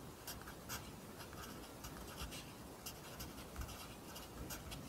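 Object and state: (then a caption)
Pencil writing on a paper notebook. A pencil writes on an open lined paper notebook, its graphite scratching the page in a steady run of bright, papery strokes. Soft, quiet scratches sit over a constant low rumble.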